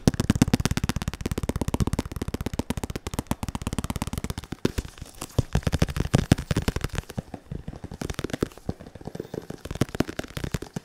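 A padded synthetic leather boxing focus mitt is tapped quickly with the fingertips as it is moved around. It makes a long, rapid run of soft, dull thuds with a low, padded body and almost no ring, with the tapping easing in places before picking back up.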